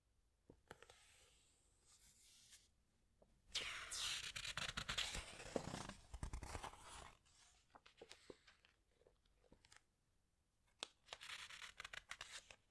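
Long nails and fingertips rub and scratch across the glossy paper pages of a large hardcover animal book, and a page is turned. Soft, bright scratches and sharp ticks give way to a loud, crinkly rush of paper in the middle. Quieter taps and scrapes follow, and the clip ends with another stretch of high, hissy scratching.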